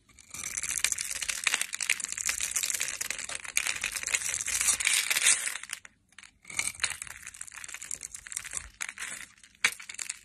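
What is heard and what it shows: A metal knife shaves small cubes off a hand-held, solid, translucent amber bar soap that is pre-scored into a grid. The result is a dense, bright, crunchy scraping and crumbling with many quick crackles. It pauses briefly near the six-second mark and then resumes in bursts.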